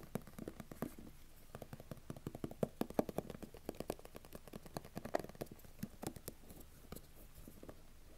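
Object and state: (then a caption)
Cardboard phone box tapped. Fingertips and nails tap and scratch the surfaces of a small white rigid cardboard iPhone 11 box with a lid, held in the hand. A quick, irregular run of soft, dry, short taps with almost no ring sits over faint scratching, the sound mostly low and midrange with little brightness.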